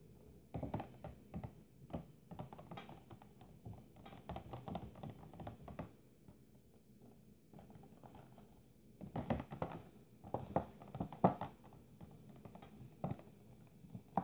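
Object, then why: Clear plastic display box. Long painted nails tap and scratch across the lid of a rectangular clear plastic display box, hollow packaging holding three glitter Christmas ornaments. Quick, dry clicking taps with almost no ring come in dense bursts, easing into a softer scratchy stretch in the middle before sharper taps return.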